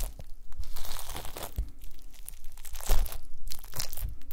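A pile of small pink translucent solid gelatin jelly cubes on a white mesh mat is pressed and crushed with the round end of a wooden masher. The result is a steady run of crunchy, crinkling squishes, with soft low thumps under bright crackly bursts.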